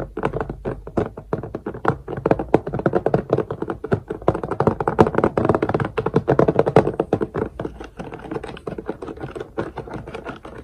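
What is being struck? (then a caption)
Clear plastic multi-compartment storage case with beads. Fingertips and nails tap rapidly on the closed lid of a long, clear plastic multi-compartment storage case with letter labels, partly filled with beads and drills. The result is a steady stream of quick, dry plastic clicks and light thunks that are midrange-heavy and stop almost instantly.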